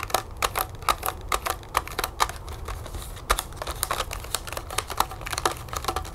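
Long nails tap quickly on a small, hollow, clear plastic blister pack of birthday candles. The pack is full of yellow striped wax candles on a pink cardboard backing and lies flat on a wooden table. The result is a fast, uneven run of short, crisp plastic clicks with a hollow ring near 1.2 kHz and bright edges, over a faint low rumble.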